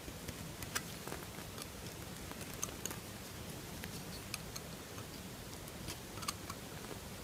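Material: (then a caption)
Soap. A solid pink bar of soap is carved with a metal knife, and the shavings fall away. Quiet, steady scraping is broken by scattered sharp, bright clicks and ticks from the blade. A low rustling hum runs underneath.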